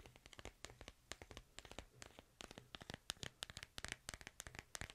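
A smartphone in a white plastic case is held in the hand while fingernails tap and scratch across the back of the case. Around thirty quick, dry clicks and brief scratches come in an uneven rhythm, bright and high with almost no ring. A faint low hum sits beneath them.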